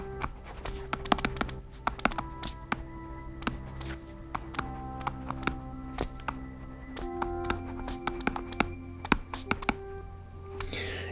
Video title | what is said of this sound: Kobo Sage: In-Depth Review | this clackiness that um is present all of the time